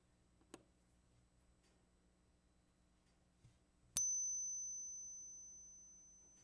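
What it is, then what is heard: Genuine silver quarter. A 1964 silver quarter is ping-tested during a run through a lot of ten, with a faint tick heard first and then one sharp strike. The strike rings out as a clear, high, pure tone that decays slowly over a couple of seconds. The ringing ping marks it as authentic silver, and all the quarters test positive.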